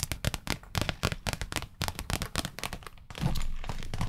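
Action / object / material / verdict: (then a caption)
tap / small clear plastic box / plastic / none. A small, hollow, clear pinkish plastic (likely acrylic) rectangular case is held in both hands close to the microphone and tapped and handled with long red nails. Quick, dry clicking taps with low, hollow thunks follow one another unevenly, then give way in the final second to a steady, louder scratching and rubbing over the surface.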